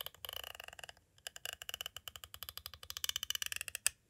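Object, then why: Plastic cassette tape case. A metal-tipped green tool taps quickly on the side edge of a clear plastic cassette tape case, making about 27 short, dry, bright clicks with almost no low end. The taps come in a rapid run, pause briefly, then resume in an uneven stream and end on one sharper, louder click.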